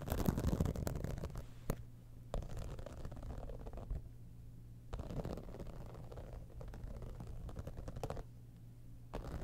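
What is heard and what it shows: Long nails scratch and tap the top and sides of a medium, boxy, hollow cosmetic bag with an embossed, iridescent, holographic textured faux-leather surface resting on a fur rug. Dry, low scratching comes in uneven bursts, with a few sharper taps standing out.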